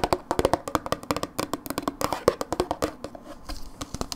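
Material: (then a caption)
Plastic. Long nails tap and scratch a hollow plastic dip tub with a blue lid and paper label, held on its side. A quick, uneven run of dry, hollow clicks with a slight pitch rings off almost instantly. Softer scratching fills a short stretch near the end.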